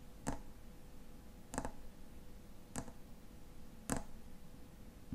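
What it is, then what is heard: Fingernail taps on a metal bottle cap. Fingernails tap the silver metal cap of a tall frosted glass lotion bottle. Sharp, bright clicks come about once every second or so and die away almost instantly. The taps are quiet, over a faint low background and a steady soft hum.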